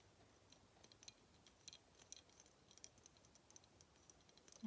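A small, hollow-looking clear and gold glass figurine Christmas ornament is held in both hands and tapped and scratched with fingernails. Quiet, bright, short ticks and clicks sound over a soft scratchy hiss, ending with a louder, lower knock at the very end.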